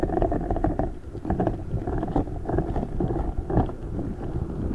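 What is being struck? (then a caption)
Rubber spiky ball with gel water beads inside. A large rubber spiky ball filled with gel water beads is squeezed and lifted close above the microphone by both hands. It makes a steady run of soft, muffled squishing and squelching, with bursts of wet crackle, heavy in the low end and with almost nothing bright.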